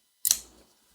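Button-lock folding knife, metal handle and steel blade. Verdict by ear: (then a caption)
Slightly sticky. A button-lock folding knife with aluminum handles and a steel blade is flicked open, giving a single sharp, bright pop that fades quickly. The pop shows a slight button stick, not too bad, which is expected to loosen up with use.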